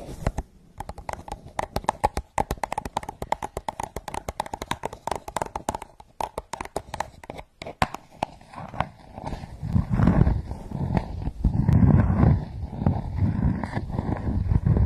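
Long nails tap and scratch the sides of a translucent blue ridged plastic cup, hollow and empty, standing upside down. A quick, irregular run of sharp, dry clicks fills the first half. The sound then gives way to louder, rougher scratching with a deep, hollow rumble.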